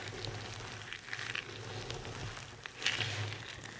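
A large pile of dry, multicolored soap shavings on a table is crushed and rubbed with both hands and the fingertips of long red nails. It makes a soft, steady crackling rustle with bright, crisp flecks, a louder crunchy burst near the end, and a faint low hum underneath.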